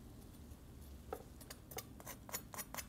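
The skin of a roast goose just out of the oven is tapped and scratched, giving a series of short, dry, crisp clicks and crackles over a low background rumble. The skin is nicely crispy from top heat at the end of roasting.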